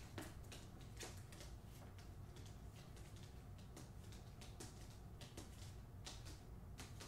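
Long nails tap along the spine of a hardcover book, "The Hacienda," held horizontally, its paper jacket over cardboard. The result is a quiet run of short, dry clicks with brief bright high-frequency bursts over a low, steady background rumble.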